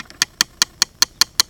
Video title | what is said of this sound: Harbor Freight jumpbox guts | up here sounds solid up here middle sounds solid